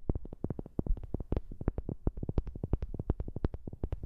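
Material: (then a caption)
Wood. A wooden object is tapped rapidly, 35 quick taps in about four seconds, picked up close on a new microphone. Each tap is a short, dull knock with a deep, low-heavy body and almost no ring, and some taps carry a slightly brighter click.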